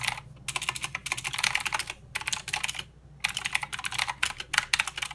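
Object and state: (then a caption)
Plastic mechanical keyboard. Both hands type with their fingertips on a mechanical keyboard with plastic keycaps and blue switches. Rapid, bright, clicky keystrokes come in bursts, with brief pauses near the start, around two seconds and just before three seconds. Each click is sharp and dies away almost at once, with little low-end weight.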